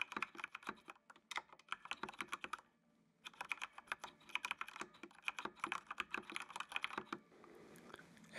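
Fingertips type on the keys of a full-size black plastic mechanical computer keyboard with RGB backlight. Quick runs of crisp, bright clicks with almost no ring fill the clip, broken by a short silent pause near the three-second mark. The typing stops just after seven seconds, leaving a faint hiss.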